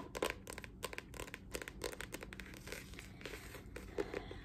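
Long nails tap and scratch the glossy cardboard cover of a paper notebook printed with a dragon illustration, held up in both hands. Quick, dry clicking taps mix with soft scratchy rustling in a steady, quiet stream. Each tap dies away almost at once.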